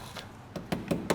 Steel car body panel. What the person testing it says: if I tap on here that sounds pretty good